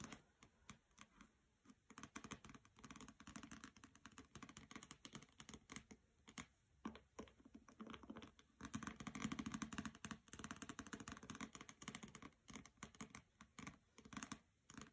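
Long nails tap and scratch the cover and edges of a hardcover copy of "Graceling" with a glossy jacket, resting on carpet. The result is a dense, quick run of soft clicks and light scratching, with busier stretches around the middle and near the end.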